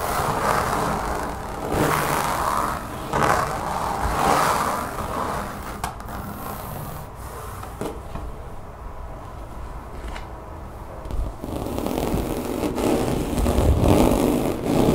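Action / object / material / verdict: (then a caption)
scrape / textured rubber mat / rubber / none. Long nails scratch and tap across a thin, solid brown mat with a woven texture, apparently rubber or vinyl, lying on a table, with fingertips and clawed fingers working its surface. The result is a steady, dry rasping scrape, mostly low-to-mid in tone with little brightness, swelling and fading in rough strokes before growing louder and busier toward the end.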